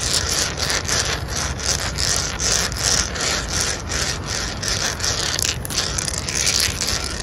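Fingertips and short nails of both hands scratch and rub a solid, rough-textured concrete or terrazzo garden ledge. A continuous bright, gritty scraping comes in quick repeated strokes, with steady loudness throughout.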